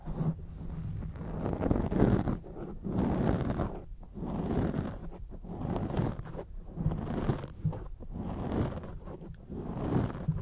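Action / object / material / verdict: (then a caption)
scrape / foam microphone windscreen / foam / none. Long acrylic nails scratch across a grey foam microphone windscreen, making dense, muffled scratching and rustling in uneven bursts with short pauses between strokes. The sound is dark and low-heavy, with almost nothing bright on top.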